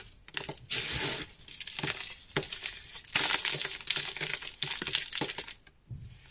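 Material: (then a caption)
Chalk. Small, solid, crumbly chunks of black dyed gym chalk are crushed and crumbled between the fingers and palm of a bare hand over a pile of black powder. Bright, dry crackling and gritty crunching come in uneven bursts, with short sharp snaps as pieces break apart and a soft, sandy rustle between them.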